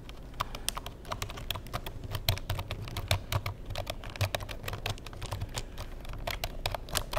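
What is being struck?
Plastic computer keyboard.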